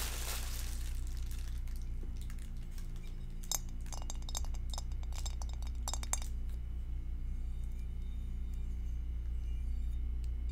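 An empty, clear glass two-compartment rectangular food container, lidless and held over a grey surface, is tapped with long acrylic nails and fingertips. Quick, bright, high clicks and clinks come in a loose cluster through the middle of the clip, over a steady low hum.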